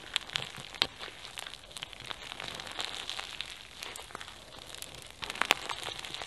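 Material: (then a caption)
Foam beads. Pink foam bead slime (floam) with sequins is pressed and kneaded flat by fingertips on a white surface, then squeezed into a ball with both hands. It gives a steady, bright crunchy crinkling with many quick pops, and sharper snaps near the start and again toward the end.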